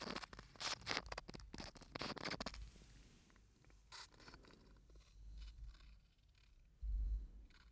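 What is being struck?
Ridged aluminium screw cap on a small glass bottle.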